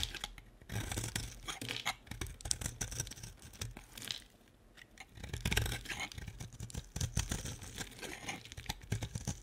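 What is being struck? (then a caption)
Bar of soap shaved with a blade. A solid white bar of soap, its pink outer layer mostly carved away, is held in hand and shaved into flakes with a utility-knife blade. Dense, rapid scraping and crisp tearing strokes run throughout, with a brief quieter pause near the middle before the shaving resumes.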